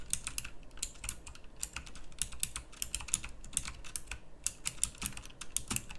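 Fast typing with the fingertips of both hands on a pink plastic mechanical typewriter-style keyboard with round plastic keycaps. Quick, bright clicks and clacks patter in an uneven stream. Each sharp keystroke dies away almost instantly over a faint low hum.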